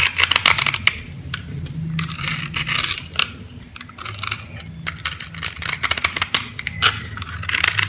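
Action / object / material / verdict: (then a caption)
scrape / scored bar of soap cut with a knife / soap / none. A knife blade cuts through a solid bright green bar of soap, scored into a grid and held in the hand, crunching the cubes off. Dense, bright crackling crunches and sharp clicks come in quick bursts with short pauses between them, over a faint low hum.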